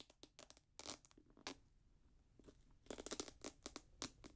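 Fingertips tap the upper and strap of a grey Jordan Flight 45 high-top sneaker made of synthetic leather and mesh. The taps come in quick, irregular clusters of short, dry, bright crinkly clicks that stop almost at once, with quieter gaps between bursts.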